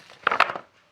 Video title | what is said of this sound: पका हुआ खीरा हो या हिमाचल और उत्तराखंड में उगने वाली देसी काकड़ी की होममेड बड़ी बनाने का तरीका | आवाज से पता चल रहा है कि कितनी सूखी है